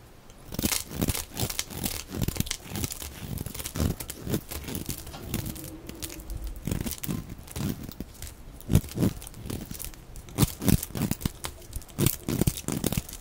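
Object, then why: Bar of soap shaved with a blade. A utility knife blade shaves a dry, oval pink solid soap bar held in the hand, peeling off shavings that pile up. Crisp scraping and cutting strokes repeat in quick bursts, each a short dry crunch with bright, crinkly edges and little ring.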